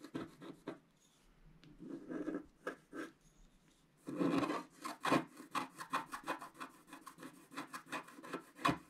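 A thin wooden stylus, held in the fingers while the other hand steadies the sheet, continuously scrapes the black wax coating off a colourful scratch-art paper page lying flat on a table. Dry, raspy scratching strokes start sparse with short pauses, then a longer scrape comes at about four seconds. After that, roughly twenty quick, even strokes follow in a steady rhythm.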